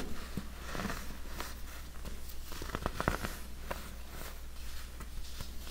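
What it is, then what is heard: Compressed baking soda chunks being crumbled. Hands crumble and rub large solid chunks of dyed yellow compressed baking soda over a heap of loose powder, using fingers and nails to break pieces off. Soft, dry crunching and gritty scraping run throughout, with a few sharper cracks over a steady low hum.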